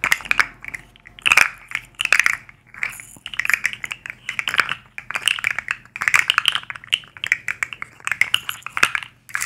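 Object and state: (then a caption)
Plastic articulated fidget slug toy. A black and white striped plastic articulated fidget slug with hollow segments is handled and flexed with long acrylic nails, tapping and clicking its segments. Dense bursts of sharp, bright plastic clicks and rattles come in clusters with brief pauses between them. The clicks are dry, with almost no ring.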